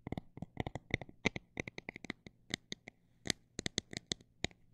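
Fingernails tap on a textured plastic item at a mix of fast and slow paces, about two dozen sharp, bright clicks in irregular bursts. Each tap is short and dry with almost no ring, over a faint steady low hum.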